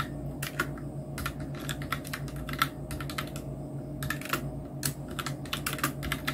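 A full-size black plastic mechanical keyboard (Nubwo Illusion NK-70) with Outemu red switches, round plastic typewriter-style keycaps and a blue backlight is typed on with the fingertips of both hands. Quick, light clicky taps come in uneven bursts, each short and bright, with no ring after it. A steady low hum sits underneath the typing.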